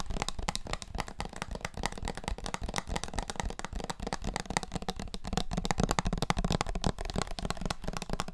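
A small bottle with a red plastic screw cap and a printed label, partly filled with yellowish liquid, is held in both hands and tapped with the fingertips on its body and cap. Rapid, dense, dry taps and clicks run continuously with almost no ring, weighted toward low frequencies.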